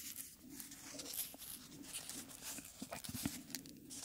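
A small, dried, dark red rose petal is pinched between the fingertips and rubbed and crinkled close to the mic. The result is a soft, steady, dry rustle, mostly bright and hissy, with a faint low hum under it and brief crisp crackles.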